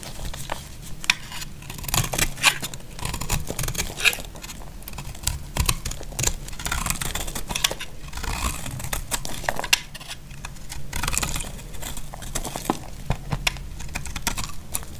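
A solid, dry pink bar of soap is held in the hand and scraped and carved across its face with a utility knife blade. Rapid, crisp scraping and crumbly crackling strokes come in uneven bursts, bright and dry with almost no ring. A low, steady rumble sits underneath throughout.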